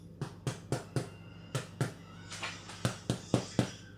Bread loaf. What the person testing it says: a nice hollow sound when you tap it, which we've got there